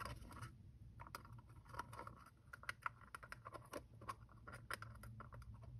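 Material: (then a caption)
Plastic. A small hollow two-piece plastic gacha capsule with black and orange halves is held in both hands while fingertips and thumbs twist and rub the halves apart. Quiet, dry scratching and rubbing build into a dense patter of short clicks and scrapes with a low hum underneath.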